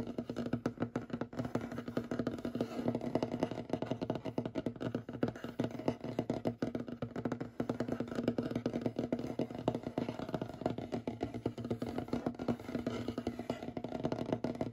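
Short fingernails rapidly tap and scratch the surface of a large, solid, light-colored wooden table with knots. The result is a dense, continuous stream of dry, dull taps and soft scrapes that stop almost instantly, with most of the sound sitting in the low-mids.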